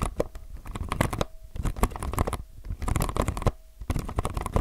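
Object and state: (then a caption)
Mechanical keyboard with plastic keycaps. Fingertips at both edges of a low-profile mechanical keyboard with plastic keycaps press and scratch the outer keys and case, making rapid, dense bursts of short clacks, taps and scratchy rubbing. The sound is dominated by low, dull thumps with quick decay, broken by three brief pauses where a faint steady mid-pitched tone lingers.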